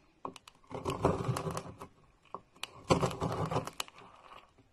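A metal knife blade repeatedly slices into a solid, round, palm-sized bar of pink and orange marbled soap held in a hand with blue nails, shaving it into a pile of crumbly flakes. Short sharp clicks lead into two dense bursts of crackling, crunchy scraping as the blade cuts through, then the sound fades to softer scrapes.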